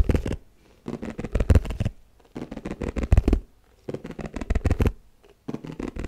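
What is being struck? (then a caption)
Round plastic food container. Fingertips and nails tap fast on the flat base of an empty, hollow, white round plastic food container held against the mic. It comes in four quick bursts of dull, low, hollow knocks with short gaps between them. Each tap dies away almost instantly.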